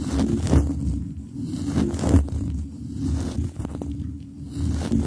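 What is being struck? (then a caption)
Metal microphone mesh grille under rubber gloves. Fingers in black nitrile gloves rub and tap the round metal mesh grille of a microphone, cupping the hollow grille in both hands, with the glove rubber's friction adding to the sound. The result is a dense, muffled low rumble of scraping and rustling, with irregular thumping swells rising and falling throughout.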